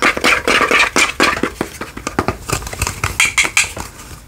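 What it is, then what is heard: Glass candle holder. Long fingernails rapidly tap and scratch a small hollow cut-glass candle holder with a diamond pattern and a lit candle or light inside, held in both hands. The result is a fast, uneven flurry of bright clicks and brief scrapes with a glassy tone around 2.4 kHz that dies away almost immediately, growing quieter toward the end.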